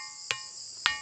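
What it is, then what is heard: Gong stone (ringing rock) struck. A ringing gong stone, called kontu mondi ("sounding stone") in the Muna language, is struck twice. Each strike gives a sharp metallic clink with a bright ring around 1.8 kHz that fades quickly. A steady high-pitched insect-like buzz continues throughout.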